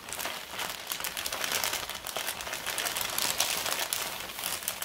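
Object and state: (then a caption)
Kraft paper mailer bag. A large, empty, flat brown kraft paper Staples mailer bag is rubbed and scratched across its surface by both hands using fingertips and long red nails. The result is a steady, dense crinkling and scratching with a bright, papery hiss and almost no low end.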